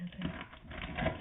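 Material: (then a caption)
Pork skin. Air-fried crispy pork belly is cut and handled, producing a series of soft, crackly crunches from its skin over a low, muffled background. The crunching shows the skin is crispy and the pork is done.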